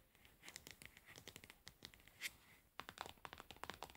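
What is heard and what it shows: Long nails tap and scratch the pink lid and label of an upright plastic cosmetic pad jar. Quick, bright clicks mix with dry scratchy rustling in a steady, quiet flurry. A brief lull comes just before the tapping picks back up more densely.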